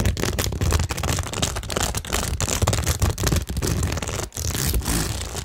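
Long nails rapidly scratch and tap a cork tingle board studded with small plastic rhinestones. The sound is a dense, continuous scraping and clicking texture with a low, thumpy body and bright, crackly highs, punctuated by brief near-silent gaps.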